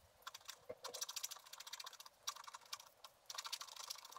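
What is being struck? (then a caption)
Wax-coated scratch art paper scratched with a wooden stylus. A wooden stylus scratches across a flat sheet of black wax-coated scratch art paper, revealing color beneath the black layer as a candy cane and gingerbread man in a filled Christmas stocking are drawn. Quick, dry, bright scratching strokes come in rapid bursts with brief pauses between them, each stroke short with no ring.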